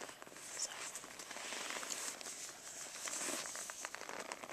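Medium-long natural nails scratch and tap with both hands on the padded surface of a black stitched faux-leather makeup brush roll, rolled up, tied with a cord and lying on carpet. The result is a steady, bright, crinkly scratching with light taps scattered through it and almost no low end.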